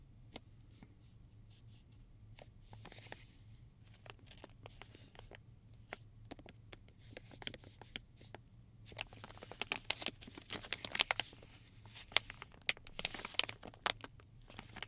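Fingertips scratch and press the film of a silver, foil-lined metallized plastic pouch with combs inside, making quiet, sharp, bright ticks over a steady low hum. The pouch is then turned over to its clear front and handled, and the crinkling grows busier and louder in dense bursts of crisp crackle.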